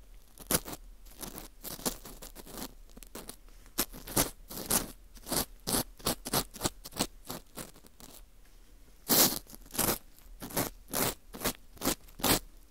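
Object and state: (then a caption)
Dried wheat gluten ring scraped inside. A green plastic scoop tool scrapes the inside of the hollowed hole in a porous dried wheat gluten ring (fu), making a string of short, dry, bright scratching and crunching strokes. The strokes come in uneven bursts, some quick and close together, others spread out, with brief quiet gaps between them.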